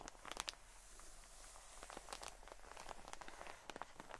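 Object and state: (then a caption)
Plastic-wrapped cotton wool pack. Long nails scratch along the ribbed surface of a long cotton wool pleat pack in clear plastic wrap, seen end-on. Quiet, bright crinkling and scratching strokes follow one another with sharper bursts near the start and end, each dying away almost at once.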